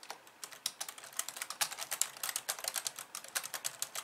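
Long nails tap two-handed across the white keys of a pink plastic computer keyboard, giving about thirty quick, crisp clicks. Each tap is short and bright with almost no low end, falling into an uneven, steady typing rhythm.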